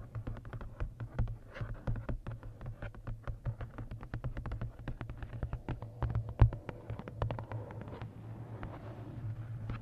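Long nails tap and scratch the matte card cover of a large paperback coloring book, "Lost Ocean", with a solid paper block, held upright. Quick, dry, closely spaced clicks with almost no ring sit over a steady low hum. Near the end the taps give way to a softer, continuous scratching.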